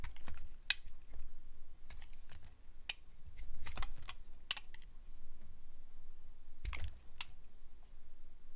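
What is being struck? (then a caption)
Glycerin soap bar cut with a metal blade. A solid translucent glycerin soap bar held in hand is sliced with a metal blade. Short, sharp, bright clicks and crisp scraping snaps stand out over a steady low rumble, each cut dying away almost instantly.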